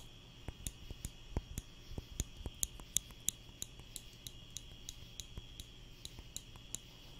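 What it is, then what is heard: Wooden clothespin clicking. A small wooden spring clothespin is held in the fingers and clicked open and shut close up, making about 17 short, dry, sharp clicks with no ring. The clicks come at an uneven pace over a quiet background with a faint, steady high tone.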